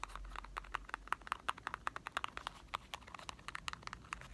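A small printed cardboard box of Marble chocolates is tapped rapidly with fingertips, producing a quick, uneven run of short, dry, hollow taps. The taps center around 1.3 kHz with some bright edges and die away almost instantly. A faint low hum sits underneath.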